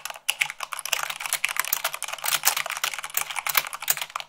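Fingertips and long nails type quickly, at about 98 words per minute, on a mechanical keyboard with white plastic keycaps on a black base. A rapid, uneven stream of short, bright plastic clicks and clacks follows, each dying away almost instantly with almost no low end.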